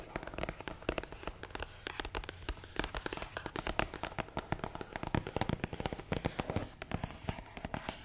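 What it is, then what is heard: Hollow cardboard box. Long nails tap fast on top of a long, black, matte cardboard gift box that is hollow and closed. The result is a rapid, uneven stream of short, dry, hollow taps with a dull low thump under each one and quick clicky edges, and almost no ring between hits.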